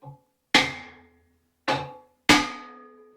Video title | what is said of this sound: Removing A Stuck Seatpost From A Vintage Serotta Frame! | You can hear the noise when it pops up. The tone changes.